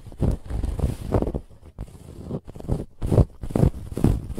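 Long nails scratch a soft, stuffed white fabric pillow with a woven textured band. The sound is a rough, dull scraping in quick, uneven strokes, heavy in the low end, with short pauses between bursts.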